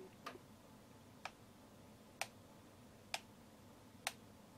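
A fingertip and nail tap and turn the ridged plastic, rubber-textured focus ring on a Centon K100 SLR zoom lens. Six short, dry, bright ticks sound, spaced about a second apart, with the first two close together. Each click is crisp with almost no ring, centered near 780 Hz, over a quiet background.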